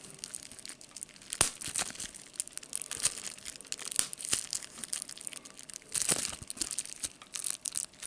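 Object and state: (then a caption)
Plastic bubble wrap being crinkled and popped. A sheet of clear plastic bubble wrap with air bubbles is held in one hand while the fingers squeeze and pop the bubbles and crinkle the sheet. A steady, bright crinkling runs throughout, broken by sharp, short pops that stand out above it, with almost no low-end body.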